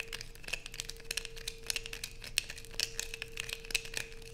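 Long nails scrape curls off the edge of a light-blue bar of soap, then scratch across its surface as it rests on black fabric. The result is a dense stream of crisp, bright scratching and crinkling bursts with sharp, quickly fading clicks over a faint steady hum.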